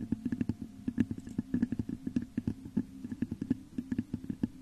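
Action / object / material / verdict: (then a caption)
tap / glass vase / glass / none. Long nails scratch and tap the top of a hollow, textured clear glass vase set upside down over a microphone. A rapid, uneven run of short taps and scrapes gives a low, hollow resonance around 230 Hz. Each tap dies away almost instantly.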